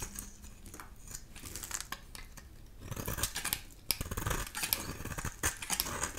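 A solid amber-yellow dry bar of soap, held in the hand, is shaved into curls with a utility knife blade. Crisp, bright scraping and cutting strokes come in rapid bursts over a low rumble, growing louder and denser in the second half.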